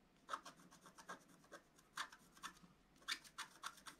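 A wooden stylus scratches leaf shapes into a flat scratch art paper sheet with a black coating, moving in rapid strokes. Quiet, dry, raspy scratches come in a quick, uneven series, with brief bright bursts and almost no low end.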